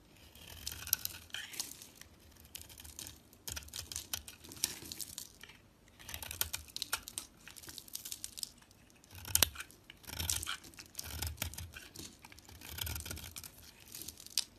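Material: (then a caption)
Soap. A small blade carves and scrapes curls off a solid cream-coloured bar of soap with a dark coating, held in the hand. Repeated bursts of crisp, bright scraping and crackling stand out, separated by short pauses, with soft low thuds underneath.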